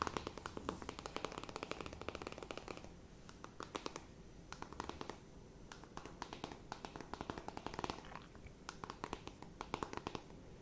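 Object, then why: Closed cardboard makeup palette scratched with fingernails. Long nails scratch across a closed, flat rectangular cardboard eyeshadow palette. The result is quiet, dry, rapid scratching in bursts, broken by brief pauses near 3, 5 and 8 seconds.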